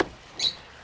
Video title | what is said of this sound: Devtac Ronin helmet - Wosport | it's hollow underneath this. These panels are like hollow.